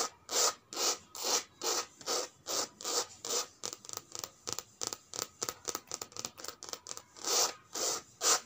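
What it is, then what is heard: Coated canvas handbag. Long red nails and fingertips rub and scratch the surface of a checkered coated canvas handbag lying flat. About 25 bright, hissy rasping strokes are heard: long even swipes at first, quicker, shorter scratches in the middle, then long swipes again at the end.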